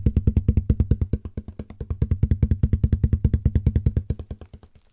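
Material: Cardboard.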